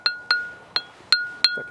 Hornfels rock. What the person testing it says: when you lift this one up it rings beautifully it's like a cowbell yeah Tubular Bells